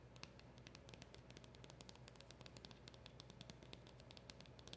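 Long acrylic nails scratch and tap on a small, hollow black cardboard packaging box with a round emblem sticker. Quick, bright clicks come in a fast, steady stream over a soft scratchy rustle and a low, constant hum, all at a quiet level.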